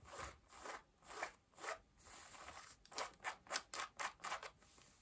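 Long nails scratch pale yellow denim jeans at the waistband and front pockets. Quiet, dry rasping strokes come in soft swells at first, then turn into quicker, sharper, brighter scratches. The clip fades to a faint fabric rustle at the end.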